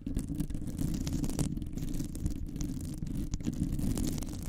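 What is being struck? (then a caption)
Metal wire-mesh microphone grille. Long nails scratch and grip the hollow metal wire-mesh head of a large condenser microphone. The result is a steady, dense, rumbling scrape, heavy in the low end around a low hum, with faint brighter scratchy streaks flickering above it for the whole clip.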